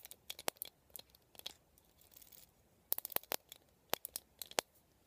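Fingernails scratch and flick the plastic pin bristles and vented ribs of a black plastic vent hairbrush held upright. The result is a quiet, uneven series of sharp, bright clicks and snaps, with a soft scratchy rustle in the middle and almost no low end.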